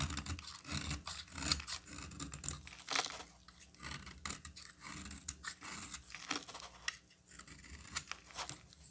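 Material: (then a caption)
Soap. A solid green bar of soap held in the hand is carved and scraped with a utility knife blade. Quiet, crisp scraping and shaving sounds come in an irregular series of short bursts, mostly bright and high-pitched with little low end.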